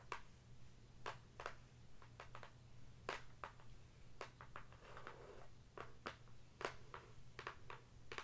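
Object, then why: Closed cardboard box tapped with long fingernails. Long acrylic nails tap and scratch across the top and side of a closed, hollow cardboard "Mini Zen Garden" product box. Short, dry, bright clicks come in irregular bursts, with a brief softer scratching patch in the middle, over a steady low hum. Each tap dies away almost instantly.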